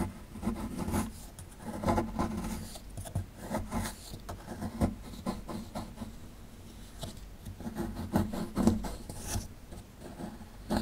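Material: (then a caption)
Plaster. A metal pick tool scrapes at a small, solid plaster excavation block held in the hand, breaking off crumbling chunks. Steady gritty rasping and scratching continues throughout, with short bright bursts over a low, full body.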